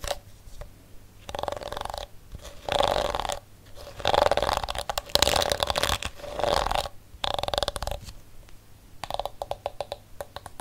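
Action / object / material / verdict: scrape / plastic hairbrush bristles / plastic / none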